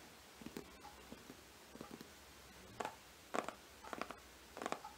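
Long green-painted nails of both hands tap and scratch the glossy printed paper covering the solid board front cover of a large, closed hardcover Harry Potter book lying flat on a rug, cover up. The result is a quiet string of short, dry taps and brief scratchy clusters with no ringing, mostly in the mid range, growing slightly louder toward the end.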